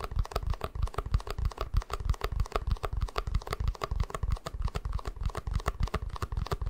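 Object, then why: Small plastic cup. An empty, small, hollow white plastic cup is held in both hands while fingertips tap and scratch its sides. The result is a fast, uneven stream of dull, low, hollow thumps with light clicky scratches, about three a second, each dying away almost instantly with no ring.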